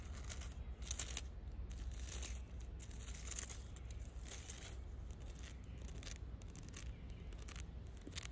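Long dark red nails scratch and tap the rough grey lichen-covered bark of a large solid fallen log lying in grass. The result is a steady run of dry, rasping scratches with bright, crinkly bursts over a constant low rumble.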